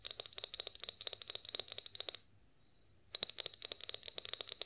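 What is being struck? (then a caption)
Glass olive oil bottle, partly filled. Long acrylic nails tap and scratch a tall, clear glass olive oil bottle with a pour spout, held upright and partly filled with oil. A rapid series of sharp, bright, clicky taps with short glassy rings runs for about two seconds, stops for nearly a second of quiet, then resumes at the same quick pace until the end.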